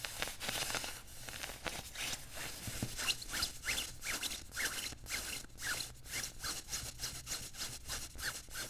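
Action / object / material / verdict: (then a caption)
scrape / padded nylon puffer jacket sleeve / nylon fabric / none. Fingertips and nails rub and scratch the padded sleeve of a worn beige quilted nylon puffer jacket resting on a table. The result is a bright, hissing fabric swish that turns into a steady run of quick, rhythmic scratching strokes, each with a faint squeak.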